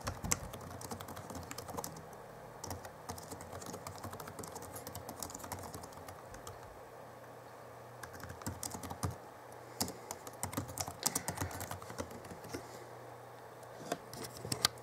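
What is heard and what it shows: Both hands type with their fingertips on the backlit plastic keyboard of a 2011 Alienware M11x R2 laptop. A dense, continuous stream of short, dry, bright clicks and clacks plays over a faint steady low hum, with a few louder key strikes standing out near the end.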